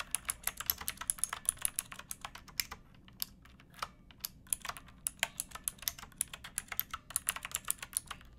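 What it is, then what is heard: Plastic mechanical keyboard typing. Both hands type on a pink backlit mechanical keyboard with plastic keycaps, striking the keys with fingertips and nails. Dozens of short, bright clicky keystrokes come in quick bursts, with a brief slower stretch around the middle. Each click is crisp and dies away almost instantly.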